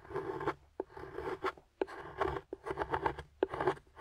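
A small metal carving tool with a wooden handle scrapes shavings off a flat, solid dark chocolate bar held in the fingers. Short, gritty scraping strokes with a mid-pitched ring alternate with sharp little clicks as the blade catches and lifts off the surface.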